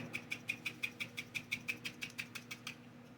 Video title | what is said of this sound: Protection Jar Spell For Room In Your Home. | that sound moving in there those ingredients in that black salt